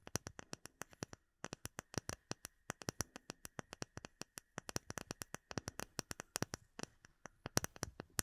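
Long nails tap quickly on a small rectangular, solid, clear acrylic plate with embedded bubbles, held in both hands. About 55 sharp, bright clicks come in an uneven run, each dying out almost at once, with one short pause early on. The taps are quiet and dry, with little low body.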